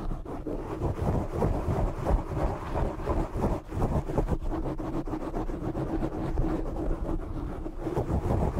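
Fingertips and short nails scratch and rub the sides of a black foam windscreen on a desk microphone. The result is a dense, continuous, muffled rumble of scratchy crackles, heavy in the low end with almost no bright top.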